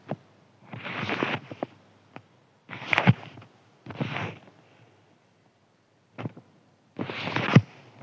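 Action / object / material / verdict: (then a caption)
scrape / thin crinkly paper sheet / paper / none. A thin white crinkly paper sheet is scratched with a fingertip in several separate bursts, giving dry, papery crackling with a bright rustle and a soft low thump. Short sharp clicks fall between the longer scratching passes.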